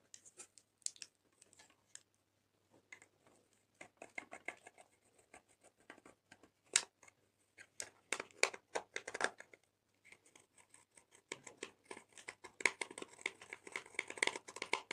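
A metal dotting tool scratches and gouges colored pressed powder out of the pans of a small clear plastic eyeshadow palette, held by a hand with long nails over a glass dish. Dry, bright, crumbly scrapes and sharp ticks come in irregular bursts with short pauses between. The scraping grows denser and busier toward the end.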